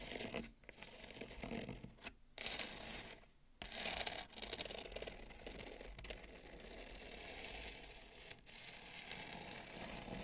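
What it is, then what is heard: Bamboo plate. Long nails scratch the outer rim of a wide, shallow bamboo serving plate with both hands, producing a steady, bright, dry scratching texture. The scratching runs nearly continuously for about ten seconds, broken by short pauses near two and three and a half seconds.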